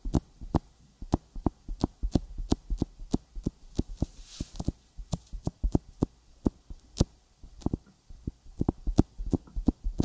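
Fingertips tap a sticky silicone binaural microphone ear coated with petroleum jelly, producing about 30 short, dry, close-up taps in a quick uneven rhythm. Each tap has a soft low thump with a bright, sticky click and no ring. A faint steady hum sits underneath.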